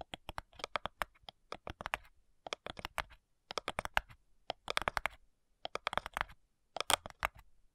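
Long nails tap and scratch along the front side edge of a flat, hollow cigar box made of light wood. Quick, dry, clicky taps come in short rapid bursts separated by brief pauses, with bright scratchy textures and almost no ring after each hit.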